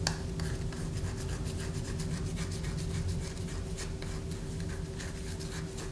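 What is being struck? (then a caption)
Bar of soap. A solid white bar of soap, held upright in a hand above a paper poster, is scratched with long fingernails. The result is a steady, continuous rasping scratch with short bright flicks over a low, even background hum.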